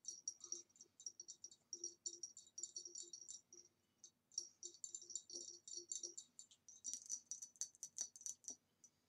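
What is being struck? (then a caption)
Ribbed glass vase. A hollow, empty green ribbed glass vase lying on its side is tapped with long nails along its body. Quick bursts of light, bright clicking taps fall in uneven runs with tiny pauses, each tap very short with almost no ring. A faster, sharper flurry of taps comes near the end.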